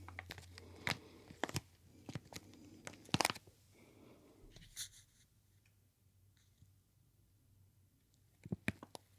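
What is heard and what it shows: A full plastic retail bag of CSR dark brown sugar is held beside the ear and crinkled and squeezed with the fingers. Sharp, bright plastic crackles come in bursts over a low hum, with a quieter stretch in the middle before a final flurry of crinkles.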